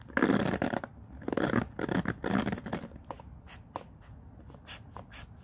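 Fingers rake and scratch across the white-tipped bristles of a black plastic paddle hairbrush head resting on a wooden floor. Three dense, scratchy bursts fill the first two and a half seconds. Sparser, lighter flicks and ticks follow, some with a bright edge.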